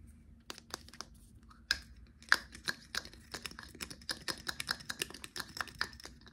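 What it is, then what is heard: Glass cologne bottle with plastic cap. A small dark blue glass cologne bottle with a black plastic cap is held in the hands. Fingertips and nails tap the cap, and the cap is lifted off and put back on. The result is a quick series of sharp, dry clicks and taps with bright, glassy pings and almost no ring.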